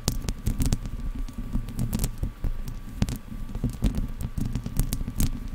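Long dark-painted nails of both hands scratch the hollow metal mesh grille of a silver Blue Yeti–style condenser microphone, with headphones resting around the mic but left untouched. The result is a dense, low, rumbling scratching texture with frequent sharp, bright clicks and ticks over a faint steady tone near 1.1 kHz.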